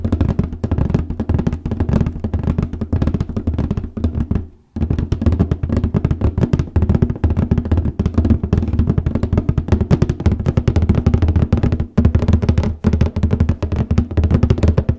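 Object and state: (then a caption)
Cardboard copy paper box. Both hands tap rapidly with nails and fingertips on the top of a large white cardboard copy paper box. The result is a dense, continuous patter of short, hollow, low thuds that die away almost instantly. The tapping pauses briefly near the five-second mark before resuming at a steady level.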